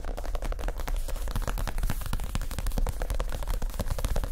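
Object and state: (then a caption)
Padded leather chair seat. Fingertips of both hands tap quickly across a soft, stuffed white leather (or faux leather) chair seat cushion and its rounded edge. The result is a dense, continuous run of rapid, dull, low-pitched pats with almost no ring.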